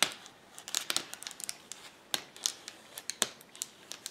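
A flat sheet of clear plastic bubble wrap lies on a table while fingertips and nails press, pop and scratch its air bubbles. About seventeen sharp, bright snaps ring out at irregular intervals, each dying away almost instantly, with soft crinkling and scratching of the plastic between them and almost no low end.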